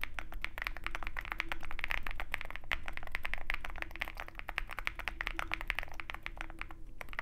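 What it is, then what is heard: Mechanical keyboard being typed on. Both hands type continuously with their fingertips on a Zoom65 compact 65% mechanical keyboard with white plastic keycaps and a dark metal case, resting on a desk mat. A fast, uneven stream of short, crisp clacks rings bright around 2 kHz over a steady low hum.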